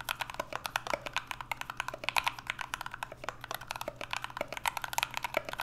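Two hands type continuously with their fingertips on an NK65 65% mechanical keyboard with an aluminum case, Everglide Aqua King switches and PBT Notion keycaps. A rapid, uneven stream of short, crisp, bright clacks with almost no ring rises over a faint steady low hum.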